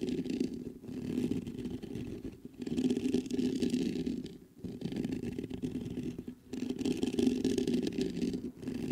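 Fingertips scratch the mesh grille of a black metal USB condenser microphone, producing a continuous, gritty rasp centered in the low mids around 250 Hz. The scratching comes in strokes lasting a couple of seconds each, separated by brief pauses.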